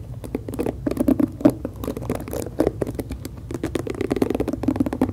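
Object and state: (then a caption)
Plastic hairbrush tapped and scratched with nails. Long acrylic nails tap the hollow plastic back of a pink plastic detangling hairbrush and scratch its black bristles close to the mic. The result is a dense stream of quick, dry plastic taps and crackly scratches with a hollow mid-pitched body and bright edges, each tap dying away almost instantly.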